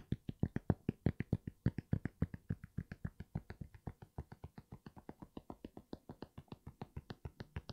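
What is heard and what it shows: An empty grey NMD sneaker with a knit upper and foam sole is held upright while fingertips and nails tap its sole and heel area repeatedly. About 53 short, dull, low thuds come in a quick, slightly uneven rhythm of roughly three to four per second. Each tap dies away almost at once.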